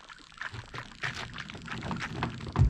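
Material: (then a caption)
Liquid electrolyte. A lead-acid car battery with removable caps is shaken, and the liquid electrolyte inside can be heard sloshing. The sound is a series of low, muffled swishes that build toward a louder final slosh.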